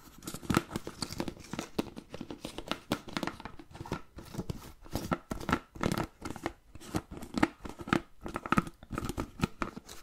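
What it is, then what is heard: Plastic food container, tapped and scratched. Fingertips and nails tap and scratch the blue plastic lid and sides of a medium-size, hollow, empty-looking clear plastic food container. Quick, dry clicks and scraping rasps come in uneven bursts, with a hollow plastic tone in the low mids. Each tap dies away almost instantly.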